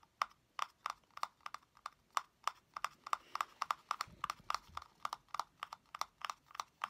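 A small, hollow blue plastic cylindrical container with a lid is held in one hand while fingernails tap and scratch its top. A quick, irregular series of sharp, dry clicks with a hollow ring around 1.1 kHz sounds, each dying away almost instantly, with faint scratching between them.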